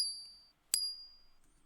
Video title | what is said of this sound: How to spot fake gold bullion coin - Scale and Ring test | there is a little bit different tone